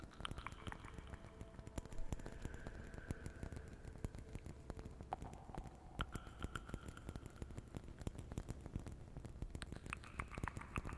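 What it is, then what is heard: Ceramic Christmas ornament. A small, hollow, red-and-white painted ceramic Christmas ornament is held in both hands close to the microphone and tapped and scratched with long painted fingernails. Dense, quick, dry clicks and scratchy patter run throughout over a low rumble. Faint sustained tones drift in and out behind them.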